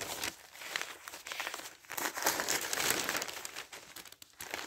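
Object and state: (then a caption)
Newspaper pages being handled. Thin newsprint sheets of a newspaper are turned and smoothed flat with the fingers. Soft, irregular crinkling and papery rubbing rise and fall in bursts, with bright, hissy texture and almost no low end.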